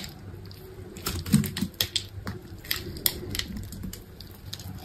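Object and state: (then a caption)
Bar of soap being shaved. A solid green bar of soap is held in one hand with long pink nails while a utility knife blade shaves and scrapes its surface, so flakes and small cubes fall off. Crisp, bright scraping clicks and ticks come in uneven bursts over a steady low rumble. Each cut ends quickly with almost no ring.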